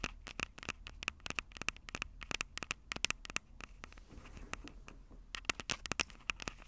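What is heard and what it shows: Long purple nails scratch and tap the two small metal-mesh condenser capsules on top of a black plastic Tascam DR-05 handheld recorder, the same recorder capturing the sound. Dense, bright, crackly clicks and scrapes follow each other in rapid, irregular bursts with almost no ring, over a faint low rumble.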